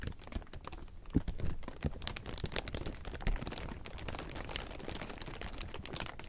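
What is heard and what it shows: Fingertips claw, scratch and crumple a large heap of thin clear plastic sheeting, making a dense, continuous crinkle. Quick sharp crackles reach up into the bright range, mixed with soft low rustling and a few louder crunches.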